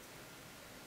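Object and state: Nothing is struck.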